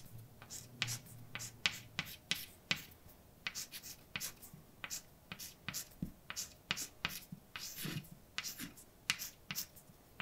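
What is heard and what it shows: A hand writes letters with white chalk on a large, dark, flat chalkboard. A quick series of sharp, bright taps and short scrapes follows, each dying away almost instantly over a quiet background.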